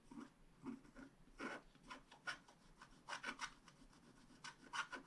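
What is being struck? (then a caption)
Scratch-art card with a black coating, scraped by a wooden stylus. A wooden stylus scratches rapid strokes into the coating of a thin, black-coated scratch-art paper card lying on a table. About twelve quiet, dry, raspy scratches come in short bursts, with a papery mid-range hiss and bright edges that stop almost instantly after each stroke.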